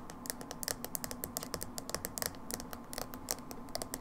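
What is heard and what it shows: Long nails rapidly tap and scratch the side of a small dark plastic hair dye jar with a label, held in one hand. Quick, sharp clicky taps mix with light scratching over a faint steady hum.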